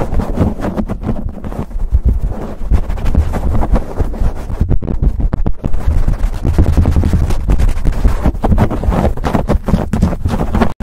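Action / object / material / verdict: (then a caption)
scrape / foam microphone windscreen / foam / none. Both hands quickly scratch and rub a black foam windscreen on a silver USB microphone with their fingertips. The result is a steady, loud, low rumbling scratch with rapid crackling strokes and no ringing.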